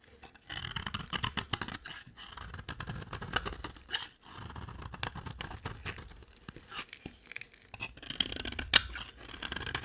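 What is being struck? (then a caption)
Soap bar cut with a blade. A utility-knife blade carves thin curls from a solid white bar of dry soap. Quick, crisp scraping strokes come in dense runs with bright, high shaving detail and brief pauses between passes.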